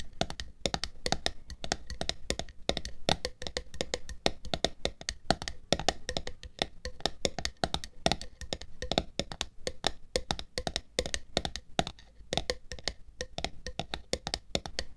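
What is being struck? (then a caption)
Plastic screw lid on a glass jar. Long nails tap rapidly on top of the black plastic screw lid of a glass jar full of red pearls, with the jar tilted on fur. The result is a steady stream of short, dry, clicky taps that die out almost instantly and vary in loudness.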